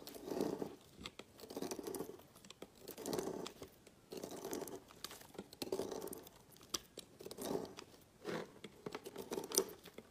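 A metal knife blade slices thin strips off one end of a solid red-coral bar of soap with an embossed letter, lying on a woven mat, into a pile of shavings. Each stroke gives a soft, crisp scraping and crumbling sound with a warm mid-range body and light crackly detail, separated by brief quiet pauses.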